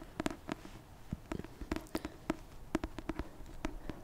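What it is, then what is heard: Paperback book tapped. Fingers tap repeatedly on a paperback copy of the Christmas rom-com "A Merry Little Meet Cute", producing quick, dry, soft taps with a low hollow tone around 300 Hz and almost no ring. The taps come in an uneven, rapid patter of roughly seventeen strikes over four seconds against a quiet background.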